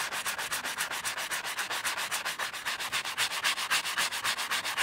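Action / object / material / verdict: scrape / leather wallet scrubbed with a bristle brush / leather / none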